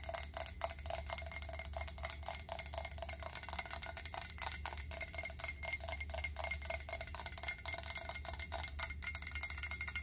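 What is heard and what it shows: Long acrylic nails tap fast on a round stainless steel pot lid with a center knob, held upright. A rapid, steady stream of bright metallic clicks with a short ring around 670 Hz plays over a constant low hum.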